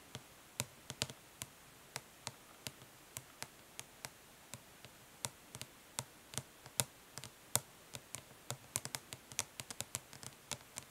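Long fingernails tap gently on the printed lid of a closed, flat, hollow plastic eyeshadow palette. About forty quick, bright, dry clicks come at an uneven pace, each stopping almost instantly, over a quiet background.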